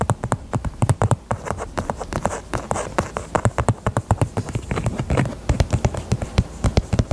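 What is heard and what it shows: Long nails tap rapidly over the front and sides of a small, hollow, heart-shaped pink faux leather purse. The taps are soft and dull, with low, hollow thuds that stop almost at once. They form a quick, uneven stream of clicks that runs the whole clip.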